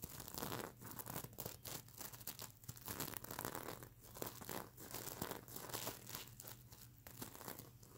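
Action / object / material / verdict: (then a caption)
scrape / fabric pillow covered in plastic sequins / plastic sequins / none. Fingernails scratch and flick the plastic sequins on a plush mermaid unicorn pillow, making dense, bright crinkling and rustling in rapid bursts that swell and fade. A faint low hum sits steadily underneath.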